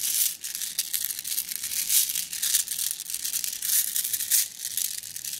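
A plastic mesh bag of flat blue glass gems is squeezed by hand, making the gems clink against each other. The result is a dense, continuous run of bright, crinkly clicks and rattles with almost no low end, rising and falling in loudness as the bag is worked.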